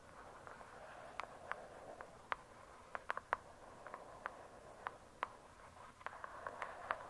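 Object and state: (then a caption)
Hardcover book with a glossy cardboard cover. Long acrylic nails scratch slowly across the glossy paper-covered cardboard cover of a thick, solid hardcover book lying flat. A soft, quiet rasping hiss runs throughout, punctuated by scattered sharp, dry clicks and ticks with a bright, mid-pitched edge. Each click dies away almost instantly.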